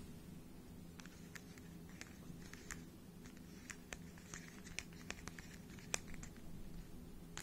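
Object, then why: Small plastic puzzle cube. Fingertips turn the layers of a small hollow plastic 3x3 speed cube held above the mic, making quiet, sharp, pattering clicks that are bright and scattered irregularly. A steady low hum sits underneath throughout.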